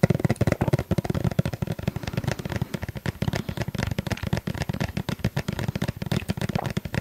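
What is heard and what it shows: Fingers tap rapidly and steadily on a plastic sunscreen tube, producing a continuous run of dozens of short, dull, hollow taps. Each tap is a brief, low thud centered around 150 Hz with almost no ring and little brightness, giving the run a soft crackling texture.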